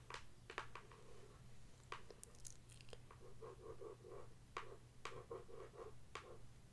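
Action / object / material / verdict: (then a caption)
tap / closed cardboard box tapped and scratched with fingernails / cardboard / none. Long acrylic nails scratch and tap across the top and side of a closed, hollow cardboard product box printed "Mini Zen Garden." Sharp, clicky taps mix with short bursts of papery scratching that carry a hollow, boxy resonance, all over a steady low hum. The sounds are quiet and unevenly spaced.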